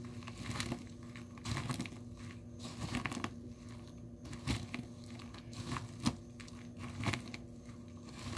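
Dry blue soap shavings and chips in a small clear plastic tub are crushed and pressed with the glass bottom of a nail polish bottle held in the fingers. Soft, dry crunching and crinkling crackles come in repeated bursts over a steady low hum near 240 Hz. A few sharper crunches stand out as the shavings break apart.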